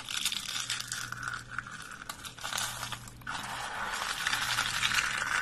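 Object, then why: Soap curls. Dry purple lavender soap curls are crushed in a fist and pressed with fingertips. A dense, bright crunching and crackling runs throughout, with scratchy, tearing textures, over a faint steady low hum. Brief dips in the middle give way to a louder, fuller crunch toward the end.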